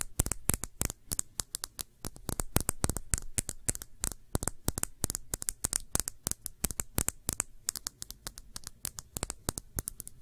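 Long nails quickly tap a small, clear, empty glass shot glass with a thick base, held on its side. The result is a rapid, uneven stream of sharp, bright clicks that stop instantly with no ring, over a faint low rumble.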